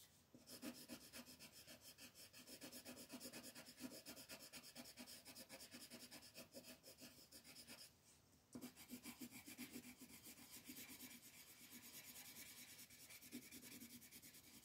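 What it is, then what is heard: Colored pencil shading on paper. An orange wooden colored pencil rubs firmly across a flat white paper coloring page lying on a table, shading in continuous strokes. The result is a quick, steady, bright scratchy rasp, with a brief pause just before the eighth second before the shading resumes.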